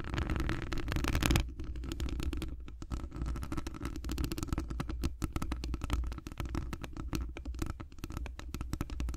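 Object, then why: Metal wire-mesh microphone grille scratched by fingernails. Long acrylic nails scratch a hollow metal wire-mesh microphone grille while hands are wrapped around it. The result is a dense, rapid run of muffled scratching and rubbing with a deep, boomy low rumble and very little high end. A louder stretch at the start drops to a steadier, softer texture for the rest of the clip.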